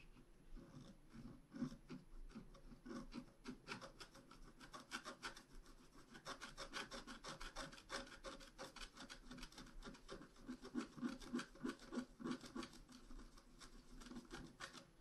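A pointed wooden stylus scratches blossom petals into a flat, black-coated scratch art card about A4 in size. Quick, dry rasping strokes repeat about three times a second in an uneven rhythm. Each stroke has a soft, low-mid scraping body and a bright, papery hiss, and the strokes stay fairly quiet throughout.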